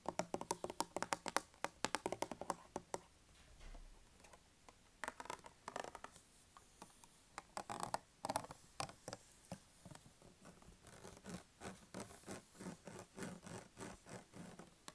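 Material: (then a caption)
Plastic. A small red plastic foaming hand soap dispenser bottle, which appears filled with liquid, is held in the hand and tapped and scratched with the fingertips and nails. Quick, dry, clicky taps come in rapid bursts, with softer scratching during brief pauses. The sound is quiet and close, with very short, non-ringing hits.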